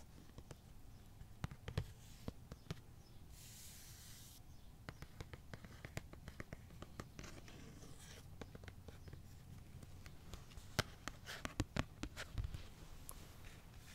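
A thin, hollow, empty white molded plastic Jason-style hockey mask, with painted red triangles and black elastic strap fittings, is held in one hand while fingernails scratch and tap across its front. Dozens of quiet, sharp, dry clicks scatter over a soft low rumble, with brief bright scratchy rasps between them and no ring after each tap.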